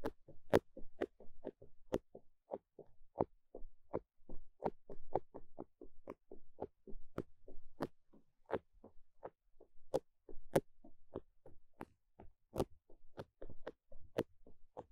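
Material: Foam.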